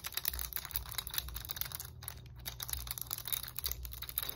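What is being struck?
Hard plastic roller stick.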